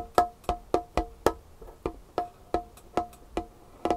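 Long painted fingernails tap and scratch a large, solid, varnished wooden tabletop, making twelve crisp, dry knocks spaced at a steady, quick pace. Each knock has a woody tone around 450 Hz, a brief bright click on top, and dies away almost at once. Faint scraping fills the gaps between some of the taps.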